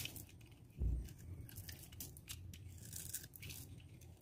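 A metal utility knife blade scores, scrapes and cuts a solid, dry, palm-sized green bar of soap held in the hand, sending green shavings falling away. Quiet, crisp scraping and light crackling sit over a low rumble, with a stronger thud-like push just before the one-second mark.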